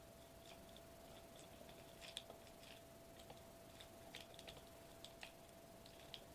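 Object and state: Foil bubble wrap sheet.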